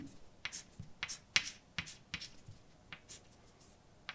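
A hand writes letters in white chalk on a large, dark chalkboard with a flat, solid surface. About a dozen sharp, bright taps ring out, separated by short, scratchy scrapes. Each tap decays quickly, with little low-end body.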